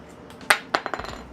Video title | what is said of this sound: FIRMWARING MY CHUBE ON A CHEEEEEEEWBSDAY! #livestream #3dprinting | it sounds like metal. I love it. or like a ceramic.